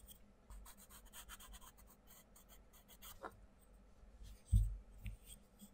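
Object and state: Coloured pencil strokes on a paper colouring book page.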